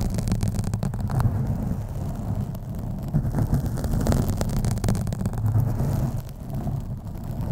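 Fingernails scratch the sides of a black foam microphone windscreen. The result is a steady, low, rumbling rustle with repeated scraping strokes, its energy concentrated in the low range, and little high-frequency content.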